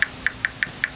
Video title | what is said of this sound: Show 19 season 1 | listen to see if i hear a nice little fiberglass sound like that